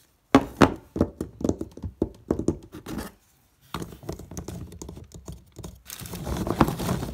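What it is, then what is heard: Box of hard, dry dog biscuits. A hand rummages and shuffles through a cardboard box full of hard, dry, bone-shaped dog biscuits and picks one up. The biscuits give quick, dull knocks and clatters against each other, with a brief pause before denser shuffling resumes and grows into a continuous rustle at the end.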